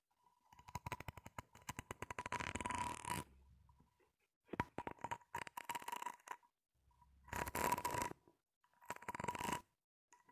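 Long nails scratch and flick across the ridges of a grey ribbed, flexible corrugated plastic hose, hollow and empty, held upright and bent slightly. Rapid, buzzing ratchet-like clicks come in several bursts separated by short silences, with a thin ringing tone near 1 kHz running through them.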